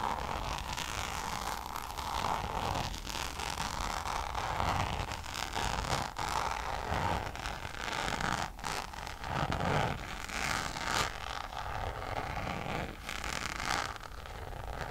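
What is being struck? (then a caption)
Coated canvas pouch. Long nails scratch up and down the surface of a checkered coated-canvas Louis Vuitton pouch held beside the face. The result is a steady, dense, dry scratching and rustling with a bright, grainy texture centered in the midrange, plus occasional sharper scrapes.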